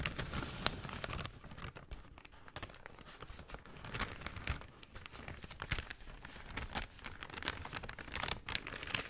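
A brown kraft paper shopping bag is folded and crinkled in the hands while fingernails rub across the paper. The result is a steady, quiet stream of dry, bright crackles and crinkles, with sharper snaps cutting through now and then and a soft low rustle underneath.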